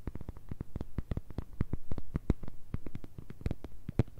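An empty, transparent, thin clear plastic phone case with a hollow shell shape is tapped and scratched with long nails on its back and edges. A quick, uneven run of short, dull, low-heavy taps follows, each click dying away almost at once, with faint brighter edges on some strikes and a soft scraping texture between them.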